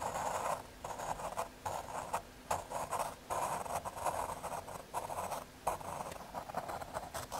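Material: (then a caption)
Fiberboard. A graphite pencil tip scratches outline strokes across a small square of thin, solid brown MDF fiberboard held by fingers. The result is a dry, papery scratching in short bursts with brief pauses between strokes, centered in the midrange with a bright hiss on top.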